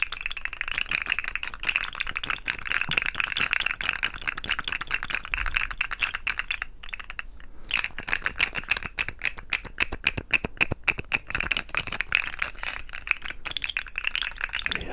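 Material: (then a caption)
Plastic. A rainbow-coloured articulated plastic fidget slug toy, about hand length with a hollow segmented body, is held in the fingertips and shaken and flexed close up. Its segments give off dense, rapid bright clicks and rattles, with a sustained high rasp around 2.5 kHz. The clicking briefly pauses near the seven-second mark before resuming.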